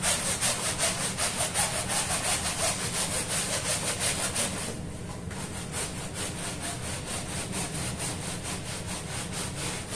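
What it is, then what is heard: Woven fabric rug being scrubbed. A small woven fabric rug covered in soap foam on a stone floor is scrubbed by hand with a short hand-held bristle brush in repeated strokes. Fast, steady rasping strokes carry a bright, high hiss with a low rumble beneath. The scrubbing is louder for the first four and a half seconds, dips briefly, then continues slightly quieter.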